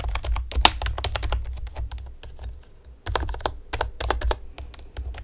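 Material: Plastic.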